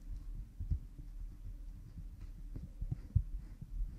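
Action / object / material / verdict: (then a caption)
scrape / silicone ear model microphone / silicone / none. A cotton swab rubs behind the ear of an oiled pink silicone ear model microphone. The sound is a quiet, muffled, deep rubbing and thumping, with nearly all its energy in the low bass and a few sharper low knocks standing out against a steady rumbling hum.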